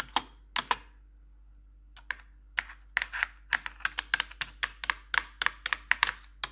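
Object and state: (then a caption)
Plastic computer keyboard. Metal claw nails tap the keys across a black plastic RGB computer keyboard. A few sharp, bright plastic clicks come first, then after a pause the taps speed up into a quick, steady clatter. Each click is dry and dies away almost at once, with a faint low hum underneath.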